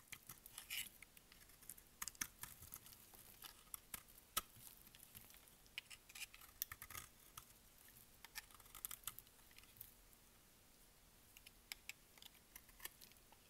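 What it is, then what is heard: Dry soap bar. A utility blade scrapes and shaves the faceted surface of a solid, dry pink bar of soap held in the palm. The result is a quiet run of crisp, bright scratching and crackling ticks with almost no low end. Each stroke is dry and short, stopping instantly with no ring.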